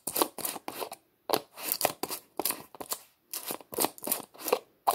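Fingertips twist the white plastic screw lid of a small, hollow red plastic tub back and forth. This makes a rapid run of dry clicking scrapes in short, bright bursts with brief pauses between them.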